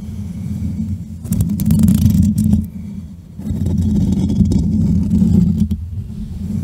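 Fingertips with short manicured nails tap and scratch directly on the rounded metal mesh grille of a black USB microphone with a hollow head. This produces a dense, low, rumbling texture of muffled thumps and scraping, centered around 100 to 200 Hz. It swells louder in two stretches before easing back down.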